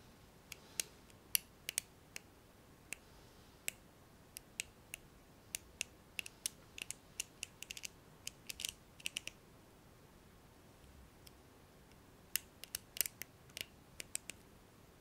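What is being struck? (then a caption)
Plastic hairbrush bristles. A fingernail flicks the black plastic pins of a blue hairbrush held upright. The result is several dozen sharp, dry, bright ticks and clicks that stop almost instantly, spaced irregularly with brief quick bursts, over near silence.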